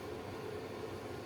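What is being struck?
Nothing is struck.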